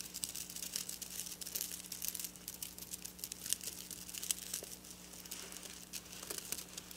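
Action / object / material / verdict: scrape / sequin fabric scratched with fingernails / sequins / none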